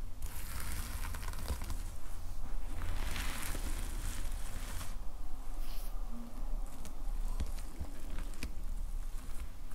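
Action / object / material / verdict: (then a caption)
scrape / plastic sequin fabric cover on a notepad / plastic sequins / none. Both hands scratch and rub the red and black plastic sequin fabric cover of a closed notepad lying flat, using their fingertips. A continuous, steady scratchy crinkling and patter with bright, hissy bursts runs over a strong low rumble throughout.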